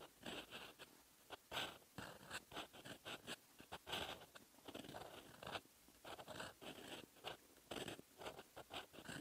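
A metal fountain pen nib scratches across a lined paper notebook page, writing red text. Dry, bright scratching strokes come in short bursts separated by brief pauses, with little low end and a crisp, papery texture.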